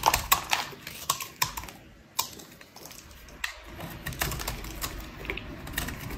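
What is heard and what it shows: A metal utility blade shaves flakes off a solid, speckled pink bar of dry soap held in the hand, cutting and scraping. The result is a string of sharp, crisp, bright clicks and short scrapes that stop almost at once, with a softer, quieter scraping stretch in the middle.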